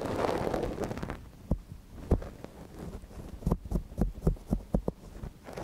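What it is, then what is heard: Silicone dummy ear scratched with a wooden pick. A thin wooden ear pick, held in gloved hands, scratches inside the ear canal of a small, hollow white silicone dummy ear on a binaural microphone. It opens with about a second of dense, rustling scraping, then gives way to quieter scratching broken by soft, dull, low thumps that come at uneven intervals.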